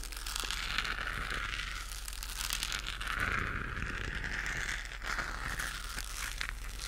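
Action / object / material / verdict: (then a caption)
scrape / textured plastic globe lamp / plastic / none. Long acrylic nails scratch and tap a hollow, pink-lit, textured plastic galaxy moon lamp. The result is a steady, dense scratching and crinkling texture with a bright resonant band around 1.5 kHz, with some small tapping clicks mixed in throughout.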